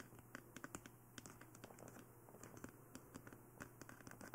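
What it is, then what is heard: Plastic dummy head microphone tapped and scratched with nails. Fingertips and nails tap and scratch the top and sides of a glossy black plastic dummy head microphone. The result is a quick, irregular run of short, dry clicks and brief scratchy strokes with almost no ring, over a steady low hum.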